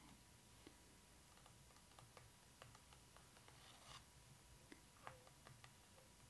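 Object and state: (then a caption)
Glossy paper book page. Long acrylic nails tap and scratch on the glossy paper page of an open photo book lying flat on its introduction spread. Short, sharp, bright clicks rise above a faint, steady hiss, mixed with soft scraping, and each tap dies away almost at once.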